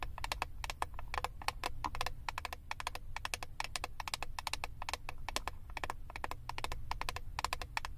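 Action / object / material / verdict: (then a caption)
tap / plastic eyeshadow palette case / plastic / none. Long acrylic nails rapidly tap and scratch the clear plastic front lid of a flat, rectangular eyeshadow palette with a hollow compact case. The result is a dense, continuous stream of sharp, dry plastic clicks centered around 1 kHz, each dying away almost instantly, over a steady low rumble.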